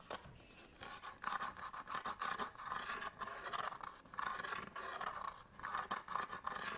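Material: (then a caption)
Cardboard. Fingernails scratch the front surface of a small SanDisk memory card package, made of cardboard with a plastic window and held in the hands. The result is quiet bursts of dry, raspy scratching, with a rough midrange tone centred around 1 kHz and brief pauses between the strokes.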